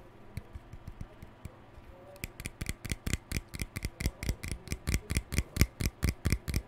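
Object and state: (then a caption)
Plastic hairbrush. Fingertips and nails flick and scratch along the bristle rows of a hand-sized lilac plastic hairbrush with a hollow body and pale plastic bristles. The result is a run of 22 short, crisp clicking flicks with a low hollow thump and bright snap. They start soft and sparse, then grow louder and more regular from just after two seconds.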